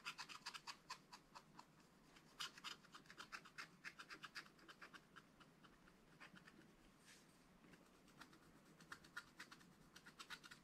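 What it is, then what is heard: Scratch-art paper page being scratched. A wooden stylus scratches a flat, black wax-coated scratch-art paper page. It makes quiet, bright, dry scratching strokes in a quick, uneven rhythm of roughly four per second, each one short and crisp with almost no low end.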